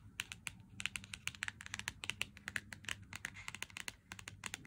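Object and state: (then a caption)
Full cardboard chocolate box. A full cardboard box of Lindt Excellence 90% chocolate is tapped with fingernails, first on the back and then on the front. The result is a fast, uneven run of crisp, bright clicks with almost no ring, centred high around 2.7 kHz over a faint low hum.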